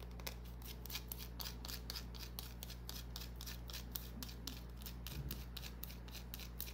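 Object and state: Green bar soap being scratched.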